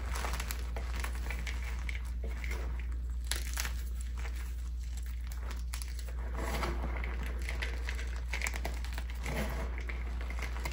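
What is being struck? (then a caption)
Gym chalk blocks (magnesium carbonate). Crumbled pink and purple gym chalk blocks (magnesium carbonate) in a clear bowl are squeezed and crushed by both hands, fingertips and palms working the dry powder and small solid pieces. The result is a steady stream of soft, dry crunching and crinkling with occasional brighter crackles, over a constant low hum.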